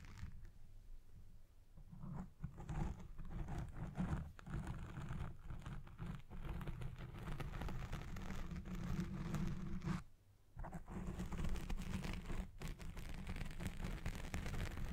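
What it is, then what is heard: Foam microphone windscreen being scratched. Both hands scratch a black foam windscreen on a Blue Yeti Pro microphone with fingertips and long red nails. The result is a dense, continuous, muffled crunching and rustling that is heavy in low rumble with little brightness. It dips briefly near the ten-second mark before resuming.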